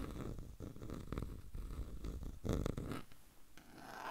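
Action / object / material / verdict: scrape / small wooden frame / wood / none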